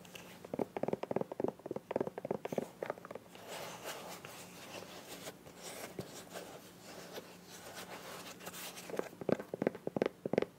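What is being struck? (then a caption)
Small soft plastic squeeze bottle. Long nails tap and scratch the body of a small, hollow, green soft plastic squeeze bottle with a white cap. Clusters of quick, dry, hollow taps open and close the clip, with a softer, steady scratching stretch in the middle. Each tap dies away almost at once.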